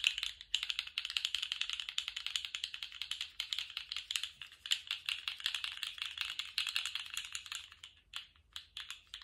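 A small rainbow-striped plastic articulated slug fidget toy, held in gloved hands, is wiggled and bent with the fingertips so its jointed segments click. A fast, uneven stream of dry, bright clicks fills the clip with almost no low end, each click dying away instantly. The clicking thins into sparser bursts with short gaps near the end.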